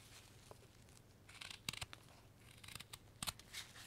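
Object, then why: Light wooden carving blank cut with a steel knife. A steel knife blade carves a solid light wood block held in a gloved hand, making repeated slicing strokes. Each stroke is a short, crisp, bright scrape that stops almost at once, over a faint steady low hum.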